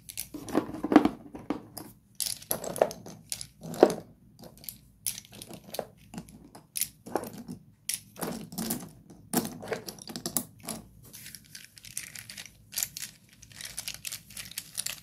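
Hands grab broken slate pencil pieces from a pile of solid fragments in a cardboard box and crumble them between the fingers. Close, dry crunching and gritty crumbling come in irregular bursts, each with a short bright crackle and a brief low thud, and the pile rattles softly between squeezes.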